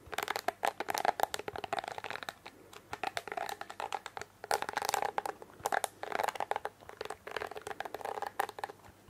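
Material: Plastic.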